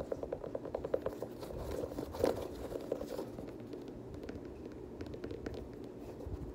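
A black suede Air Jordan 6 UNC high-top sneaker with a blue rubber sole is held empty in hand while fingertips and nails scratch and tap its outsole and suede upper. Soft crinkly scraping runs throughout, broken by quick light taps that give short, dry clicks, with one louder knock near the middle.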